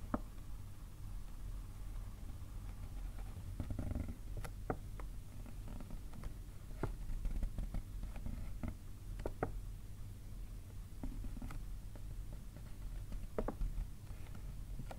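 A single finger with a painted nail taps on the printed front of a white paper gift bag standing upright on a table. Light, scattered, hollow papery taps sound over a steady low rumble.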